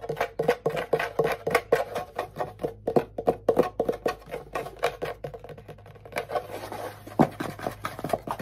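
A small hollow wooden ukulele is held upright on the lap with its strings facing away, and its back is tapped and scratched with fingertips and nails. A rapid, uneven series of short, dry, hollow taps rings briefly, with a softer patch of scratching near the end.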